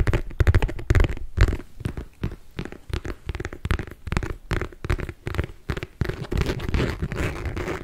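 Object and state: Leather handbag.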